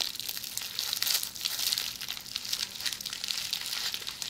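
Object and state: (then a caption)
Plastic bubble wrap. A hollow roll of red plastic bubble wrap, held in the hands, is scratched by long polished fingernails. The result is a steady, fast, bright crinkling and scratching texture with quick rustling bursts, almost entirely high-pitched with no low end.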